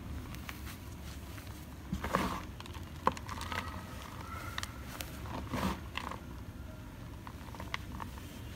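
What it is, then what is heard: Crumbled gym chalk. Fingertips and thumbs pinch, crush and rub a heap of pinkish-white dry crumbled gym chalk (magnesium carbonate powder), letting the crumbs fall back onto the pile. Soft, dry crackles and gritty rubbing run throughout at a low level over a faint low rumble, with a few sharper crunches standing out.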